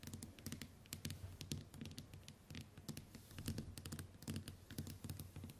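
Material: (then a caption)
Glass. Long white nails tap and click rapidly on the glass screen of a small, flat smartphone resting on a wooden table. The quiet, irregular patter combines soft low thumps with sharp, bright clicks that die away almost instantly.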